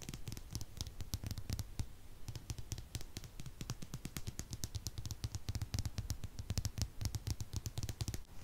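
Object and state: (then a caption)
Plastic comb. A hand-sized, solid plastic comb with a tortoiseshell pattern and both wide and fine teeth is strummed and scratched along its teeth by fingertips and nails. It makes a dense run of short, dry clicks and ticks with bright, crisp tops over a steady low rumble, with no ring after each tick.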